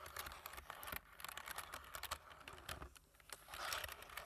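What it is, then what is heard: Plastic computer keyboard being typed on. Fingertips of both hands type quickly on a black plastic computer keyboard with a light frame. The result is a rapid, uneven stream of soft, bright plastic key clicks and taps with very little low end, briefly dipping quieter around the middle before picking back up.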